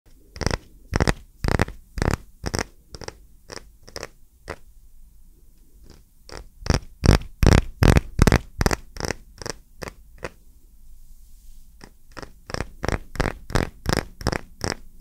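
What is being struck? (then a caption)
Small round wooden coaster. A small, solid, round wooden coaster is held in both hands close to the microphone and tapped and scratched with fingertips and short nails. About thirty short, sharp, bright taps come in quick runs separated by brief quiet pauses, each ending almost instantly, over a low, soft background rumble.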